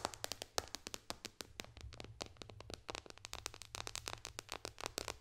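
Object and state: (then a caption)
Glass tablet touchscreen tapped with fingernails. Long dark fingernails tap rapidly on the glass touchscreen of a white-bezel iPad lying flat. Dozens of short, sharp, bright clicks land in quick, uneven succession, each dying away almost instantly with no ring. A faint, steady low hum sits underneath.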